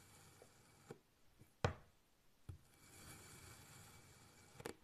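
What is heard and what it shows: A large black kitchen knife slices thin pieces off a small, solid, rectangular block of pink kinetic sand resting on a white surface. Quiet, dull, low thuds mark each cut, with a soft, grainy scraping between them as the blade pushes through the packed sand. There is no ring after each stroke.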